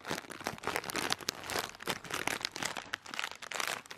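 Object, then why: Thin plastic air cushion packaging. A clear, thin plastic air cushion packaging lying on a bedspread is crinkled and pressed with one hand. It gives a steady stream of dense, bright crackling and crinkling with quick, sharp snaps and almost no low end.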